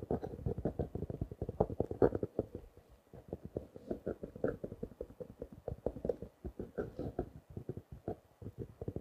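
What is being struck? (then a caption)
Small notebook in clear plastic wrap. A small blue notebook in clear plastic wrap, held at its edge, is scratched and tapped with fingertips and nails. Rapid, dense, dull taps and crinkly scratches run throughout, centered in the low-mid range around 480 Hz with very little high end, easing briefly near the three-second mark before continuing.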